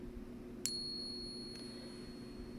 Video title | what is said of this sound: How to Authenticate Morgan and Peace Dollars with 5 Easy Tests You Can Do at Home!! | And you can hear that ring that you would typically hear of silver. It sounds great.